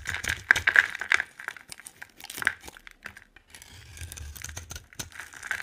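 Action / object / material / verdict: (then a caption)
scrape / bar of soap carved with a knife blade / soap / none. A utility knife blade scrapes and carves white shavings off a solid yellow polka-dot bar of dry soap held in the hand. Quick, irregular strokes make crisp, dry crackling and scratching with a bright edge, clustering around 1.8 kHz and dying away almost instantly. A denser, steadier stretch of scraping follows a brief pause.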